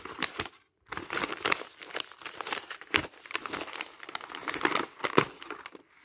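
A bundle of thin printed paper magazine pages is crumpled and rubbed by the palm and fingertips. Dense, bright crinkling and crackling comes in quick overlapping bursts, with a short pause near the start and sharper snaps scattered throughout.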